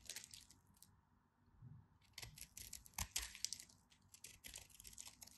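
An orange solid bar of soap with a cross-hatched surface, held in the hand, is scraped and scratched by a utility knife blade. The result is a quiet run of dry, crisp scratching and crumbly tearing sounds, bright and mostly high-pitched, with brief pauses between strokes.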